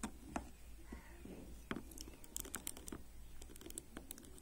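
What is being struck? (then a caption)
Plastic hairbrush bristles. Fingernails flick the ball-tipped plastic pins of a black plastic hairbrush with a silver band lying on a table, then a flat palm rubs and brushes across the pin tips. The result is a quiet run of sharp, bright clicks and ticks mixed with soft scratchy rustling over a low steady hum.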